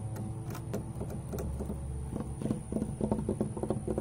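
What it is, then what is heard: Weathered wooden fence. Fingertips and nails tap and scratch on a large, old, weathered grey wooden board fence with solid knotted planks, first along the horizontal rail and then across the vertical boards. Soft scraping gives way to sharper, irregular knocks that grow louder toward the end. A low steady hum and a faint high whine run underneath.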